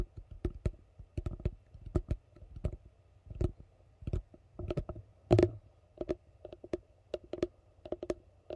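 Fingertips tap the base of a hollow yellow plastic container held upside down. The result is an uneven run of quick, dull, hollow knocks with a low-mid body around 340 Hz, some doubled or rolled together. Each tap dies away almost at once at a soft level.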